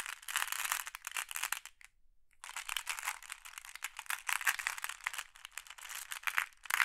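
Both hands with long nails rake and stir a pile of small, solid, flat glass decorative pebbles in a large wooden tray. The pebbles click and rattle against each other in a dense, bright clatter. The sound drops to near silence for about half a second, then the clicking resumes in uneven bursts.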